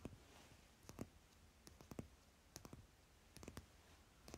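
Fingertips and nails tap rapidly on the top card of a stack of paper playing cards lying on fabric. About fourteen quiet, dry clicks come in small irregular clusters, each very short and dull with most energy low. A faint hiss fills the gaps between taps.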